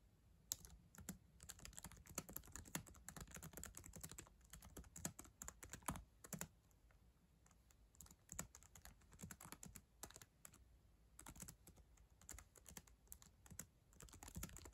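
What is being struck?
Plastic laptop keyboard keys.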